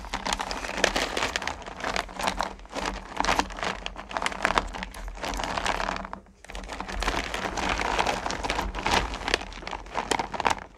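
Fingertips and long nails scoop and stir small solid candy corn pumpkins in a full purple plastic bucket. Dense, crisp clattering and rustling fills the clip with bright, busy detail over a faint steady low hum. The pieces shift and tumble continuously, briefly pausing just after the six-second mark before the stirring resumes.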